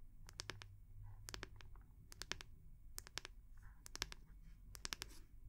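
Long nails tap and scratch the round, solid wooden back of a hair brush held in both hands. The result is a quick series of sharp, bright clicks in small clusters, with soft scratching between them, over a steady low hum.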